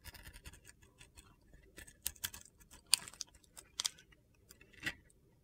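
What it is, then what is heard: Glitter-coated soap bar being scraped. A hand-held solid rectangular soap bar with a yellow and navy glitter coating is scraped with a metal box-cutter blade, peeling off thick white soap shavings. Quiet, dry, bright scratching rustles through the clip, broken by several sharper crisp scrapes that stop dead with no ring.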